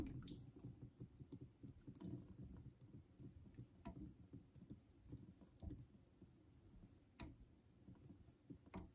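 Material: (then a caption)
Synthetic stone. A vintage Geneva Cutlery steel straight razor is drawn in honing strokes across a solid cream synthetic whetstone. The quiet, low, damp rubbing and scraping is broken by soft clicks and brief bright ticks as the blade moves over the stone.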